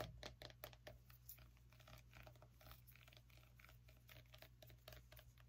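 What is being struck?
Small pumpkin rind.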